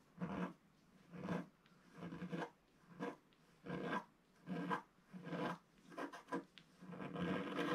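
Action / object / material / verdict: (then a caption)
scrape / black-coated scratch art paper scratched with a wooden stylus / coated paper / none. A wooden stylus scratches wave lines into a solid, flat black-coated scratch art page about A4 in size. It makes a series of short, dry, raspy scratching strokes, each rising and fading, with a midrange emphasis and quiet pauses between them.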